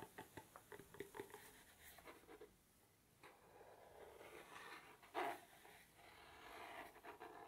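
Fingertips tap and scratch quickly on a small, hollow, dark navy cardboard gift box as it is moved around the head. A fast run of hollow, mid-pitched taps opens the clip, followed by a brief near-silent pause. Soft, papery scratching then builds, broken by one sharper knock before more light tapping at the end.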